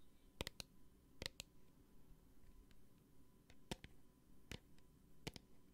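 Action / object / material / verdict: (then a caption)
tap / small plastic bottle with liquid / plastic / none. A small clear plastic hand sanitizer bottle with a green cap and liquid inside is held in the hand and tapped with long painted nails. Ten short, sharp clicking taps come in small bursts, each with a bright, crisp attack and almost no ring, over a quiet low hum.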